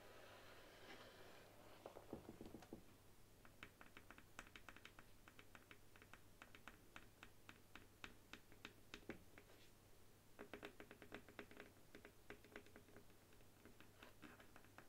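Long nails tap rapidly on the flat, solid bamboo handle of a paddle hairbrush resting on a wooden table and held steady by the other hand. The result is a steady stream of quick, dry, bright clicks with almost no ring, over a low hum, with a brief rustling burst near the start.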